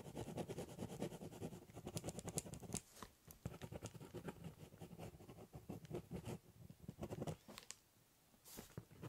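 A ballpoint pen scribbles, cross-hatches and doodles lines across the top of a large corrugated cardboard box. Quick, dry scratching strokes with a low, papery rasp come in dense bursts, with short pauses near 3 seconds and a quiet gap around 8 seconds before a last few strokes.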